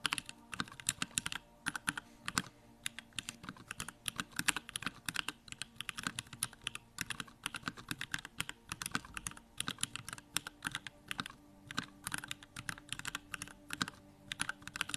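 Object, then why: Mechanical keyboard with plastic keycaps. Fingertips type rapidly on a backlit Bakeneko65 mechanical keyboard with Durock lavender switches and plastic keycaps. The result is a steady stream of short, bright clicky clacks that die away almost instantly, with a sharp tone around 1.6 kHz.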